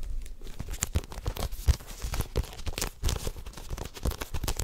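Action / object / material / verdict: scrape / paperback book with paper pages and a card cover / paper / none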